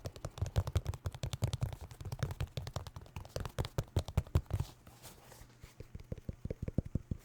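Fingers tap quickly across a New Balance sneaker made of synthetic leather with a rubber sole, producing dull, low, short thuds with almost no ring. After a brief lull near the end, the taps resume in a slower, more spaced rhythm.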